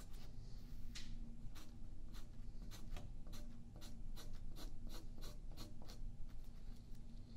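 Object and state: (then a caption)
Pencil drawing on paper. A yellow wooden graphite pencil scratches lines near the edge of a thin sheet of white paper held flat by the left hand on a wooden table. Quick, dry scratching strokes repeat in bright, papery bursts over a steady low hum.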